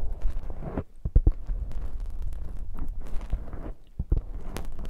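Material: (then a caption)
Foam. Fingertips and nails scratch and rub a soft, porous black foam windscreen on a binaural microphone, held close. The sound is a dense, low, muffled rustling and scraping with frequent soft thumps, mostly deep rumble with little brightness.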